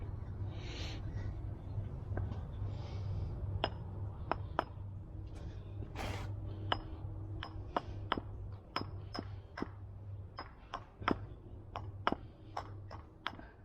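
A firewood spoon blank with a small twig or beetle hole, which can be worked around and packed once it dries, is tapped about twenty times. Each tap is a short, sharp click with a bright edge that dies away almost at once, over a steady low hum. The blank has a nice shape and sounds solid.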